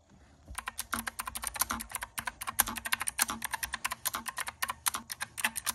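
Fingertips of both hands type rapidly on a pink and white plastic keyboard with round typewriter-style keycaps. A quiet, steady stream of short, crisp, bright clicks and key presses starts about half a second in and continues to the end, each click dying away almost instantly.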